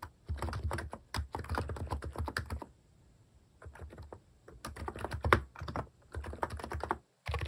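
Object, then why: Mechanical keyboard with plastic keycaps. Fingertips type in quick bursts on a plastic-keycap mechanical keyboard, producing rapid, deep, muffled clacks with short pauses between runs. The keystrokes are short and dull, weighted toward low tones with little bright edge.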